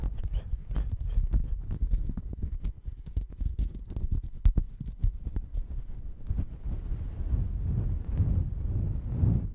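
A checkered woven textile mat held at the microphone is scratched and rubbed with fingers. Dense, low, muffled scratching taps fill the first six seconds, then give way to a steadier, rougher rubbing rustle.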